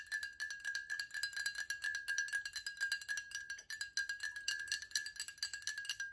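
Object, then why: Glass water bottle, partly filled. A tall VOSS glass water bottle, held sideways and partly filled with liquid, is tapped by long acrylic nails. It makes a rapid, uneven run of short, bright clicks over a steady ringing tone near 1.7 kHz, with faint sloshing of the liquid.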